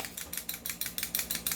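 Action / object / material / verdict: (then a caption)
shake / airsoft pistol barrel / metal / loose. A non-upgraded T-Rex airsoft pistol is shaken, and its loose barrel rattles loudly. About nine quick, bright metallic clicks follow one another in a jingling rhythm.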